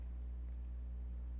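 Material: Nothing is struck.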